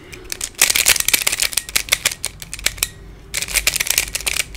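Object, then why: Plastic pyramid twisty puzzle. Fingertips twist the layers of a hand-sized black plastic Pyraminx, a pyramid twisty puzzle with coloured stickers and a hollow mechanism. It gives rapid, bright, dry plastic clicks in quick bursts. The clicking pauses briefly about two-thirds of the way through, then starts again.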